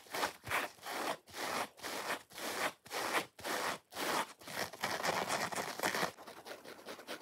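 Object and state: Dry foam kitchen sponge.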